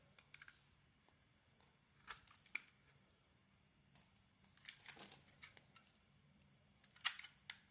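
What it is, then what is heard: Bar of soap being carved. A wide utility knife blade carves and scrapes a handheld solid oval bar of soap with a purple and glitter coating over a cream interior. Quiet, bright, crisp scraping and crunching cuts come in short bursts, with sharp snaps around 2 and 7 seconds and a longer rasping scrape near 5 seconds, separated by near silence.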